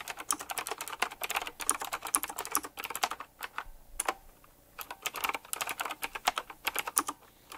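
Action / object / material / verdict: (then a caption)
tap / mechanical keyboard with round plastic keycaps and metal rims / plastic / none. Fingertips of both hands type quickly and continuously on a black retro typewriter-style mechanical keyboard with round plastic keycaps and metal rims. The result is a dense run of crisp, bright clicks and clacks, each very short with almost no low end, broken by a couple of brief pauses in the middle.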